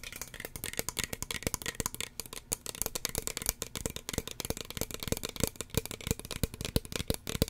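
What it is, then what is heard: Plastic spray bottle. Fingernails tap quickly and irregularly on the body and white plastic cap of a small, hollow red plastic spray bottle. The result is a dense stream of dry, sharp clicks with almost no ring, with bright, crisp tops and a slight hollow knock underneath.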